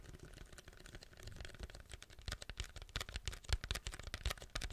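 A large, hollow white paper drink cup with a yellow logo and a plastic lid is held next to the mic and tapped and scratched with fingertips. It makes a rapid, uneven run of short, dry taps, each with a soft low thump and a bright, crisp click that stops almost instantly, over a faint scratchy rustle. The taps grow louder and sharper toward the end.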